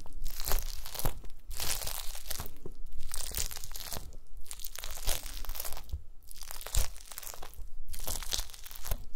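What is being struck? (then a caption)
Gelatin jelly cubes. A pile of small pink translucent solid gelatin jelly cubes on a white mesh mat is pressed and crushed with the round end of a wooden masher. Repeated crunchy, crackling crushing bursts sweep up to bright, crisp highs over a steady low thudding base. The cubes are squashed in a continuous series of presses.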